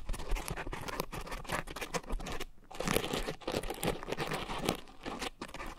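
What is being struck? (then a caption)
Foam scrub sponge. Long nails scratch and tap the surface of a round, soft, porous pink foam scrub sponge with a coarse texture and a white foam base, mounted over two microphones. Dense crinkling, crackling rasps come in uneven bursts with brief pauses, dry and close with no ring after each stroke.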